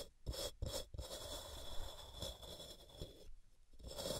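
A palm-sized solid white rectangular block of pressed gym chalk (magnesium carbonate) rests on a cork mat and is scraped down its sides with long purple-painted nails, with chalk powder collecting around it. A few short, gritty scraping strokes at the start give way to a longer continuous raspy rubbing, with a bright high hiss over a low, dull body.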